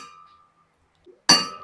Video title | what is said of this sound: কম্পনের মাধ্যমেই শব্দের সৃষ্টি 🎶🎵 Sound and Science. #Sound #Science_for_Kids | কোনো ধাতবে আঘাত করলে সেখানে কিভাবে কম্পন তৈরি হয়